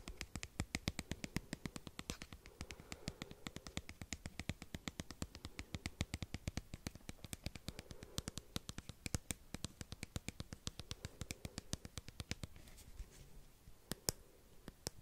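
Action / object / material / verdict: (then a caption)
tap / small plastic squeeze tube / plastic / none. A small, hollow white plastic cream squeeze tube with an orange cap, likely partly filled, is held close to the microphone and tapped and scratched with fingernails. It makes a quiet, steady run of quick, dry clicks with a low hollow knock and bright ticking edges, each dying away almost instantly. Toward the end the tapping thins out into softer scratching.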